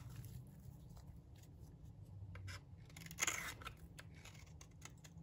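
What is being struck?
Bar of soap scraped by a metal blade.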